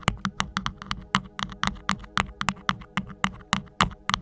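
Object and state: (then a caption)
Rhinestone-covered microphone sleeve. Fingertips and nails of both hands rapidly scratch and tap a tall, hollow, cylindrical green rhinestone sleeve with faceted gems and a silver fuzzy band at its base, fitted over the head of a Blue Yeti microphone. About 21 sharp, bright clicky taps land at an irregular pace over a faint steady low hum, each dying away almost instantly.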